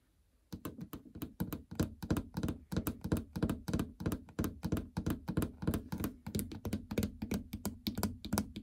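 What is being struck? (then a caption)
Plastic treadmill control panel. Long natural fingernails of several fingers tap rapidly on the hard plastic membrane keypad console of a treadmill, which has blue buttons and a large, hollow housing. The taps come as quick, uneven, dull, hollow thunks with a low body and only a faint bright click. Each one dies away almost instantly.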